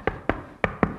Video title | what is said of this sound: FIRST IMPRESSIONS DAN UNBOXING NJS ZX 1R GT - SEMOGA NGGAK GHOIB - | materialnya dia tidak kopong kalau diketok itu kokoh